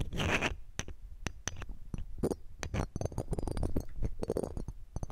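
A red-gem ring in a metal setting, held in metal tweezers, scrapes across the round metal mesh grille of a silver condenser microphone. The scraping gives close, scratchy rasps and a rapid run of short, bright ticks and clinks over a heavy low rumble.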